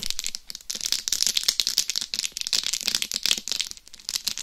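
Long acrylic nails scratch and tap across the top of a life-size hollow mannequin-head binaural microphone covered in small glued rhinestones, away from the ears. The result is a dense, continuous, bright crackling rattle of clicks and scrapes that is almost entirely high in pitch, with very little low end and each tick dying away almost instantly.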